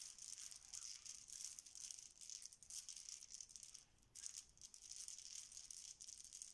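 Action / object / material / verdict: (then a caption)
scrape / small plastic game tiles on a stone counter / plastic / none. Many small solid plastic Bananagrams tiles lying face down on a stone counter are shuffled and spread with both hands and fingertips. The result is a dense, continuous stream of bright, rattling clacks with almost no low end, briefly easing near the four-second mark before picking back up.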